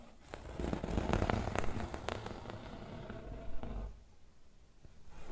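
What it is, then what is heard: Woven fabric pillow being scratched. Fingernails scratch along the weave of a rolled yellow and grey woven fabric pillow, producing dense, crackly scratching with bright ticks over a low rumble. The scratching runs steadily for about four seconds, drops to a quiet rustle, then builds again at the end.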